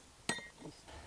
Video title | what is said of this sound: Belize City BBQ, Charcoal Making, Mango & Guava Jelly | It sounds like glass, like you say.